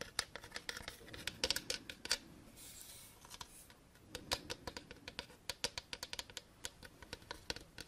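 Long painted nails tap and scratch a hand-sized, hollow, gold-coated plastic maneki-neko (lucky cat) figurine held in the hands. Quick, bright, dry clicks come in irregular bursts, with a softer scratching passage in the middle and almost no low end.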